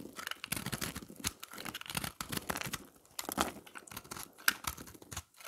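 A round, solid puck of dry, pressed, multicolored recycled soap is held in the hand and shaved and scraped with a black utility knife blade, leaving crumbly shavings. Dense, crisp scraping and crackling strokes come in irregular bursts with bright, dry texture and almost no ring.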